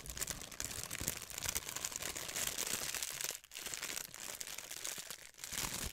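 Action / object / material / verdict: scrape / thin plastic sheet / plastic / none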